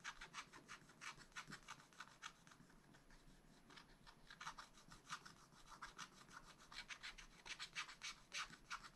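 A wooden stylus scratches small strokes at the top of a black-coated sheet in a spiral-bound scratch-art pad. Quiet, bright, dry scraping comes in rapid, uneven bursts, easing off briefly in the middle before picking up again. Each stroke is short with no ring.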